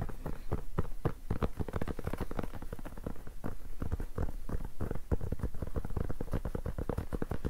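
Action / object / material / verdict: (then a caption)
scrape / rubber-backed fabric mousepad / fabric, rubber / none. A black rubber-backed fabric mousepad, bunched in the hands, has its textured cloth surface scratched and rubbed quickly with fingernails. The result is a dense, steady stream of rapid, low, muffled scratching strokes running without pause throughout.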